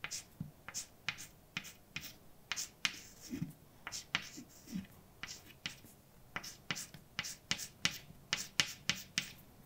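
A hand writes words with a white chalk stick on a large, flat, dark painted blackboard. About 22 short, bright, scratchy taps and strokes come in quick succession, with a few softer, lower scrapes in between. Each stroke ends almost instantly with no ring.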